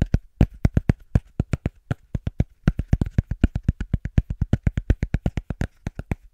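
Fast, rhythmic tapping on cork: about 42 short, dull taps, roughly four per second, in an uneven rhythm. Each tap is a low, soft thud that dies away almost instantly, with little high-end click.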